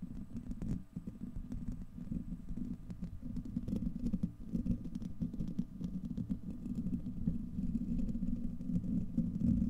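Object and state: Steel mesh microphone grille being scratched.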